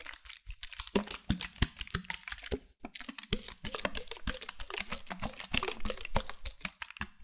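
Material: Plastic.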